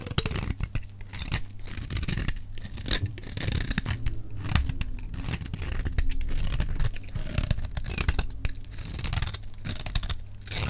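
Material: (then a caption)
Soap. A metal utility knife blade is scraped along the edge of a solid, dry green soap bar held in the hand. It makes a repeated dry scraping and crunching rasp with many short bursts over a low, steady hum.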